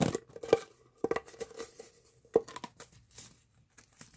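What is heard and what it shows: A hollow pink corrugated plastic pop tube, bent into a loop, is squeezed by both hands at the fingertips so its ridges pop. The result is an irregular series of short, dry pops and crinkly snaps with a faint hollow tone around 460 Hz and bright clicking edges. The three loudest snaps land near the start, around one second and past two seconds.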